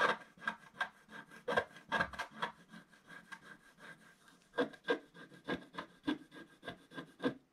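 A wooden stick scratches short strokes on a black scratch-art paper page in a book, near the lower right, while the other hand holds the page. A series of short, dry scraping strokes rises and falls. Each stroke is brief, rough and gritty, with little low end and no ring after it.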